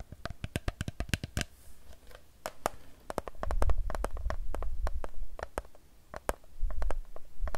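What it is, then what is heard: Plastic water bottle tapped with nails. Long nails tap quickly on the side of a hollow Fiji plastic water bottle filled with water. Dozens of sharp, bright clicks ring briefly, in bursts of varying speed over a soft, low rumble.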